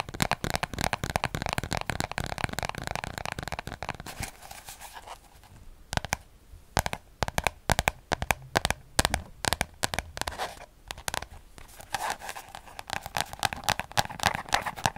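A small orange paper spiral notebook has its cover scratched with fingernails and its pages rubbed by fingers. Dense, rapid scratching fills the first four seconds. It gives way to sparse, sharp, bright ticks and rubs, and the dense scratching returns near the end.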